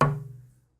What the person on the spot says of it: you can hear a slight bit more reverberance in this, but it's not anything like the Brazilian